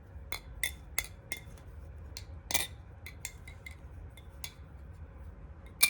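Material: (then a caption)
Metal. A Nami butterfly (balisong) knife is flipped so its metal parts clack together in a series of sharp, bright, glassy clicks with a high ring around 2.4 kHz. The clicks come at uneven intervals, with a louder snap at the end.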